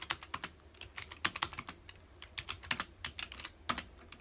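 Fingertips of both hands type on a full-size black plastic computer keyboard with hollow key housings, resting on a dark desk. A quick, uneven run of bright, dry keystroke clicks rises above a faint low hum, each tap dying away almost instantly, with a few sharper, louder strikes standing out.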